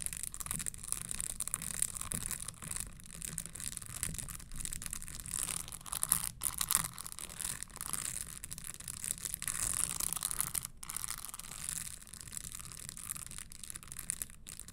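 Long fingernails tap and scratch the insole and spikes of an empty red spiked leather Christian Louboutin stiletto pump held upright. A dense, continuous crackle of quick taps and dry scratches carries a bright, hissy edge, with a steady low rumble underneath. The level stays fairly even throughout the clip.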